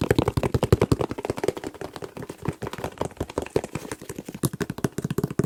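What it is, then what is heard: Hair gel container. A hair gel container is tapped very fast, producing about 40 soft, dull, low-pitched taps in a rapid, uneven flurry. Each tap is short and dies away almost instantly, with no high-frequency ring, much like soft tapping on a shoe.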